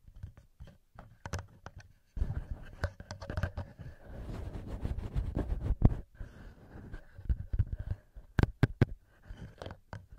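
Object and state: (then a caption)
Fingers tapping and scratching a recorder's metal mic capsules. Fingertips and nails tap and scratch on the metal microphone capsules of a handheld recorder, with hands cupping over the capsules at times. Sharp, dry taps and scratchy rustles sit on a deep, boomy low-end rumble, with a denser stretch of continuous scraping in the middle and quick bright ticks near the end.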